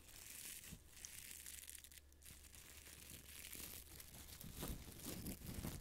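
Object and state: Felt-covered tennis ball.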